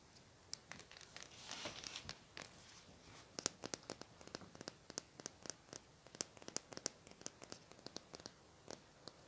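A small, hollow lilac plastic highlighter marker held in both hands is scratched and tapped with fingernails. A soft, hissing scratch early on gives way to many quick, sharp, bright clicks that stop at once with almost no ring.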